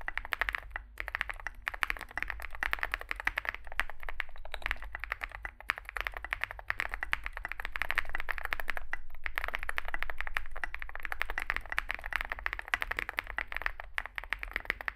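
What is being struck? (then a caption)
Mechanical keyboard with plastic keycaps and metal case. Two hands type continuously with their fingertips on a Zoom65 65% mechanical keyboard with a solid metal case and grey and white SA-profile plastic keycaps, resting on a desk mat. The result is a rapid, steady stream of short, sharp clacks centered around 1.7 kHz with a bright edge, over a constant low hum.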